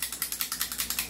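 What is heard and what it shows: The loose metal outer barrel of a John Wick Sand Viper airsoft pistol is shaken with a finger resting on it, because the outer barrel is not fixed. It produces a quick series of 11 bright, sharp rattling clicks that die away almost at once, showing a strong wobble.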